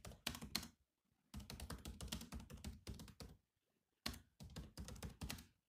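Fingertips type on the black plastic keys of a grey laptop keyboard, making quick runs of crisp, clicky taps with a soft low thunk under each keystroke. The typing comes in bursts separated by short silent pauses, and each tap dies away almost immediately.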